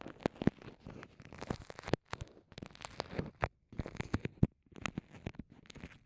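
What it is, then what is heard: Soft vinyl pouch being crinkled and scratched. Long nails and fingertips press, crinkle and scratch a small, transparent, soft vinyl zip pouch with microphones inside. The result is a quiet, close, low-heavy stream of crackly crinkles, soft taps and scratchy rubs, broken by a few brief silences.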